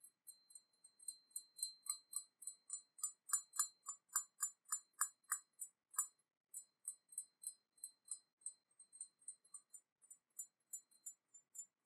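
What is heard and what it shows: Light taps on a porcelain teapot painted with an Eastern dragon give a quick series of bright, glassy clinks that fade almost at once. The tapping runs at an uneven pace, with a short pause near the six-second mark. It is louder and fuller in the middle of the clip and softer toward the end.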